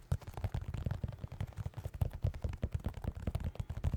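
A pair of white New Balance 608 sneakers, with synthetic leather uppers and rubber soles, is tapped in a rapid run of about 25 quick, soft taps. Each tap is a dull, low thud that dies away almost instantly, with almost no bright content.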